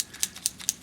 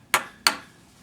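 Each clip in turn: First: paint marker with free-rolling mixing ball (usable). Second: dried-out paint marker, no ball rattle.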